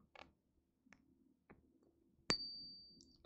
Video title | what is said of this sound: Friday Night LIVE: Gold & Silver | You hear that? That's silver.